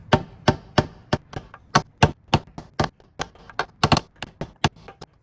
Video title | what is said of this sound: Toyota 2.4L 2RZ-FE Valve Cover Gasket Replacement (w/ misfire diagnosis) | as soon as you hear that really solid sound you know that you've bottomed out onto the lip